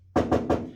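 Three knocks on an untreated steel panel of a 1955 Chevy truck, each a sharp, ringing, high-pitched tap with a midrange tone. The panel has no sound deadener applied.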